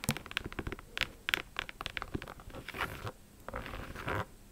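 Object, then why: Leather high-top sneaker. Long acrylic nails tap and scratch a hollow pink and black high-top sneaker with a leather/synthetic upper and laces. Quick, dry, bright clicks patter across the first two seconds, then give way to longer rasping scratches over the surface.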